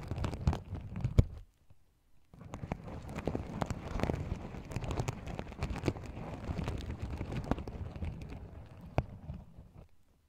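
Fingernails scratch and flip the sequins at the rim of a small, empty, open sequin-covered fabric pouch. A short burst of soft scratching gives way to a brief silence, then a longer stretch of dense, low, rustling scrapes. Sharp little clicks break through as sequins flip over.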